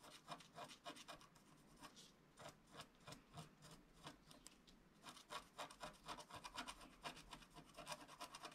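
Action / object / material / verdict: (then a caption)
scrape / wax-coated scratch-art paper card scratched with a wooden stylus / waxed paper / none. A wooden stylus scratches lines into the lower left of a flat scratch-art card of black wax-coated paper while the other hand presses the sheet down. Quiet, dry, bright rasping strokes come in quick, uneven bursts of about four per second, each stroke short with no ring.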